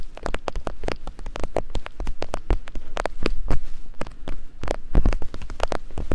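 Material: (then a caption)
Silicone. Thin wooden picks, one in each hand, tap and climb over the silicone ears of a binaural microphone. The result is a quick, irregular patter of sharp clicks with heavy low thumps underneath, each tap dying away almost at once, much like rain drumming on a surface.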